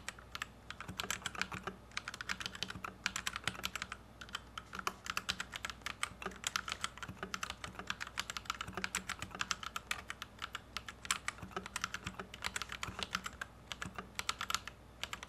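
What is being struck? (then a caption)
Plastic mechanical keyboard. Fingertips of both hands type steadily on a white compact plastic Royal Kludge RK71 mechanical keyboard with Gateron Red switches, resting on a felt desk mat. A fast, continuous stream of short, bright clacks and taps fills the clip, each keystroke dying away almost instantly.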